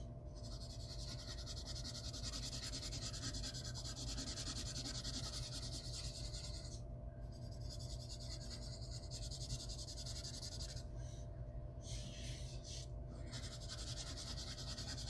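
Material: Paper.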